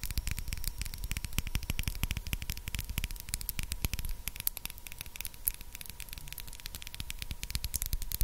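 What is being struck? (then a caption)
Small glass dropper bottle. Long acrylic nails tap rapidly on a small, clear, empty-looking glass dropper bottle with a black rubber dropper cap, held close to the mic. The result is a dense stream of sharp, bright clicks and ticks over a low, noisy rumble and a faint steady hum.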